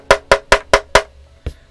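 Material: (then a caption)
Aluminum. Five evenly spaced knocks on the aluminum case of a Drop Sense75 keyboard give short, hollow taps centered near 550 Hz that die out almost at once, followed by a fainter sixth thud. The case is thin metal, thin enough that a hard enough hit could dent it.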